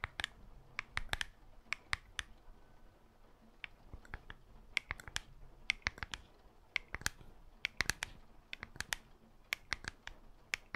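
A handheld black smartphone, a solid glass and metal slab held in one black-gloved hand, is tapped rapidly on its surface with long black false nails on the other gloved hand, close to the microphone. Dozens of sharp, bright clicks with almost no ring stand out against a quiet background.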